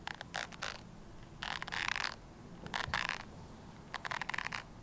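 Long nails scratch the white bristles and plastic body of a red plastic hairbrush. The result is bursts of dry, bright, crackling scratches, with a faint tonal edge around 1.6 kHz, separated by quiet pauses.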